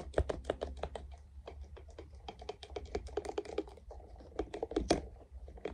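Fingertips tap quickly on a small, translucent, soft silicone funnel-shaped piece that is hollow and empty and held close. The result is a fast, uneven run of short, muffled, hollow taps with a mid-low tone and almost no ring. A low rumble sits underneath, and a few taps land harder near the end.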